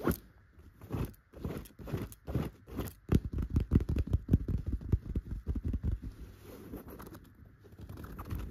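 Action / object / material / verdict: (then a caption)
scrape / chenille fabric pillow cover / chenille fabric / none. Long gold metal claw nail covers scratch a soft, stuffed yellow pillow cover with tufted chenille dots. Quick, dry, scratchy strokes come in an uneven, rapid series of short bursts with a muffled, low-weighted texture. They fade into softer, continuous rubbing near the end.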